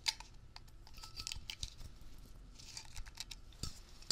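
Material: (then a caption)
Metal. Fingertips tap fast on a Blue Coral Dri-Clean upholstery cleaner aerosol can, a medium hollow metal cylinder with a blue printed label held in both hands, as it is turned and moved. The result is a quick run of bright, dry metallic ticks and clicks that die away almost at once, over a faint low rumble.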